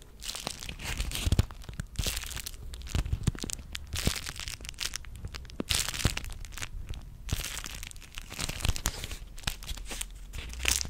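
A small pink-purple beeswax-coated cotton food wrap is folded and held close to the microphone while fingertips and nails crinkle, scrunch and rub it. Dense, bright crackling and crinkling comes in bursts over a low rumble, with short sharp crunches throughout.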